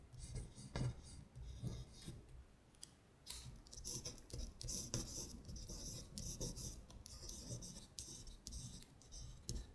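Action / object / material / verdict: scrape / thin printed paper sheet / paper / none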